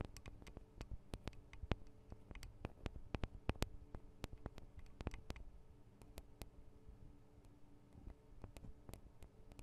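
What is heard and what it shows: Long acrylic nails tap on the thin metal microphone guard arms and capsules of a Tascam DR-40 recorder. Quick, irregular, sharp clicky taps sound over a quiet, steady low hum, some taps louder and brighter than others. The taps are close-up and dry, each stopping almost instantly with no ring.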